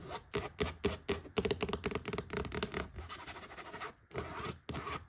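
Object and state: Cloth-bound hardcover book.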